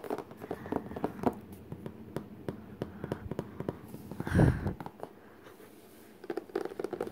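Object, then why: Cardboard art case lid. Fingertips tap quickly on the glossy printed cardboard lid of a flat, hollow Crayola art case lying closed on the floor. The taps come as rapid, dull, hollow knocks with mostly low tone and little brightness, and a louder, boomy thump rises near the middle. After a short quiet stretch, the tapping resumes.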